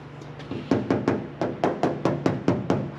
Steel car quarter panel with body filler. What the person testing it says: still sounds like metal it's really just a tiny skiff